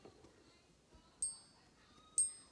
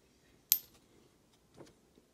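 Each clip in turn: First: genuine gold coin. Second: non-gold metal piece, short high ping.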